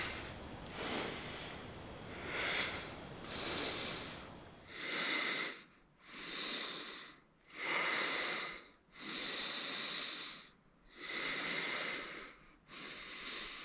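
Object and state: Nothing is struck.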